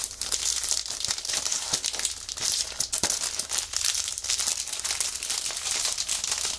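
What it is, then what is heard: Plastic-wrapped magazine crinkled. A plastic-sealed magazine is held in both hands while fingers press and flex its clear plastic wrapper. The result is a steady, dense crinkle of bright, crackling bursts with almost no low end.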